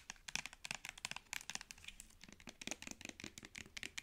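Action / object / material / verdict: tap / plastic cosmetic squeeze tube / plastic / none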